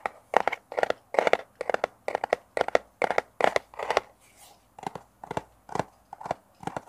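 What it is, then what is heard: Small cardboard box. A small, hollow brown kraft cardboard box with a round sticker on one face is held in the hands and scratched and tapped with fingernails close to a mini microphone. Quick, uneven clusters of dry, papery scratches and taps repeat in the midrange, with a soft, hissy brush of sound in a brief lull before the tapping resumes.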